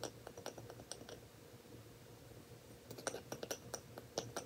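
A lid on a glass jar, where the glass isn't brown, is tapped and scratched, giving quiet, sharp clicks with a faint ringing tone around 465 Hz. The taps come in scattered bursts at the start and again near the end, separated by a stretch of soft scratching and low hum.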